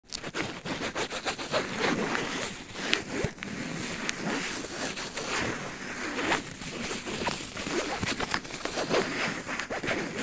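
Fingertips and nails scratch and rub the surface of a blue paw-print padded polyester laptop sleeve with black nylon handles, lying flat on a tile floor with a laptop inside. The result is a steady, dry, bright scratching and rustling texture with brief sharper scrapes throughout.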